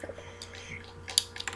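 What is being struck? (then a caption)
Plastic press-on fingernails on a wooden surface. Finished press-on fake fingernails are tapped on a wooden surface. The result is a few quiet, sharp, high-pitched clicks that sound like typing on a keyboard, each dying away almost instantly.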